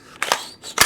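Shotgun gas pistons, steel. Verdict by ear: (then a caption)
Clean. A Remington V3 shotgun is shaken with its action open, and its steel gas pistons rattle in three quick, bright metallic clatters. The free rattle shows the gun is clean.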